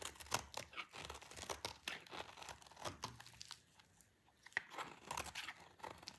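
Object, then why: Bar of soap cut with a blade. A utility knife blade slices through a solid, rectangular, dry green soap bar held in the hand. It makes a rapid series of crisp, bright crunching and scraping bursts with a brief quiet pause partway through. Each cut is dry and clicky, with almost no low end and no ring.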